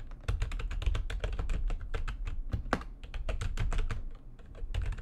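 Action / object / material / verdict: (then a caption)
tap / plastic computer keyboard / plastic / none. Fast typing with long nails and fingertips on a full-size plastic computer keyboard with white backlighting and a hollow housing. A dense, continuous stream of quick, bright key clacks rides over a deep, hollow thump from the housing, each stroke dying away almost instantly.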